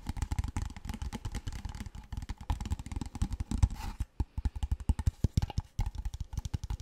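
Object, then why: Large plastic water bottle. A large, clear, empty-looking PET water bottle with a label is held in both hands and tapped and scratched with fingertips and nails close to the mic. A rapid stream of short, hollow, low thumps comes through, with faint scratchy clicks between them and almost no ring after each tap.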